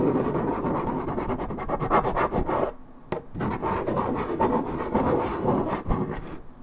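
Long red nails scratch rapidly across the printed surface of a hollow Minute Maid 1.75 L coated paperboard orange juice carton, fill unknown. A dense, dry rasping runs in quick strokes with bright scratchy edges over a mid-low papery body. It drops to a short near-silence just before the three-second mark, then resumes at the same pace until the end.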